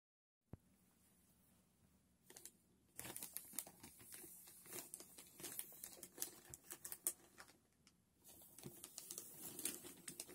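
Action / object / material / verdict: scrape / polyethylene mailer bag with a box inside / polyethylene / none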